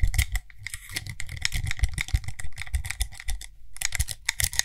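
A small frosted glass (possibly acrylic) cream jar with a gold lid is held in one hand while fingertips and nails rapidly tap and scratch on the lid and rim. The result is a dense, fast patter of short, dry clicks with soft low thumps underneath and bright, crisp ticking on top. The patter briefly drops out for a moment before resuming.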